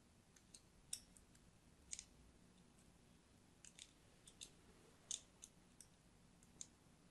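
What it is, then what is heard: Soap bar being scored with a blade. A thin metal blade cuts lines into the surface of an orange and white striped solid soap bar held in a hand. About a dozen short, crisp, bright scraping clicks come at uneven intervals, each dying away almost instantly. Between them there is only a faint, steady low hiss.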